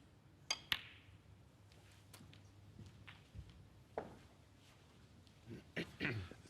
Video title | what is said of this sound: The Masters 2025 Day 2 Mark Williams Vs Ding J | It's amazing, the tip of the cue. It's such a hard tip. You can actually hear it when he strikes the ball.